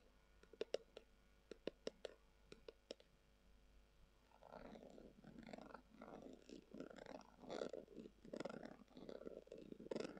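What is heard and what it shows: Long acrylic nails tap a hollow, brown, textured leather-covered tubular glasses case, producing a series of sharp, bright clicks over the first four seconds. The nails then scratch across the leather, producing rough, rustling bursts that swell and fade to the end.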